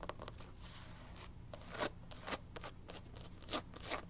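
Long nails tap and scratch the white rubber sidewall of a black canvas sneaker's platform sole, then move to the tan textured bottom of the sole. Quick, dry taps and bright scratchy scrapes come in short bursts that die away almost at once. A faint steady low hum runs underneath.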